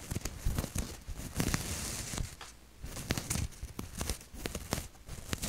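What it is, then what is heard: Cotton t-shirt being scratched. Long nails and fingertips scratch and rub a maroon cotton t-shirt with a maple leaf print close to the mic. The result is a steady run of dry, scratchy rustles and crinkly bursts with a soft low rumble underneath and occasional bright, hissy swells.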